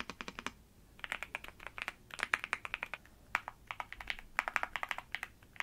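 Fingertips with long nails type on a black NuPhy Gem80 mechanical keyboard with dark plastic keycaps, resting on a bedsheet with a wrist rest in front. About 35 short, dry clacks come in quick bursts with brief pauses, centred in the midrange with a bright edge and almost no low end. Each keystroke dies away instantly.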